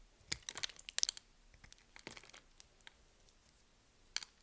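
A solid pink soap bar, held in the hand, is shaved with a metal blade, and grid-cut cubes and slabs crumble off as the blade scrapes across it. The result is a run of quiet, bright, dry crunching and crackling scrapes, clustered in the first half, with a sharp final crunch near the end.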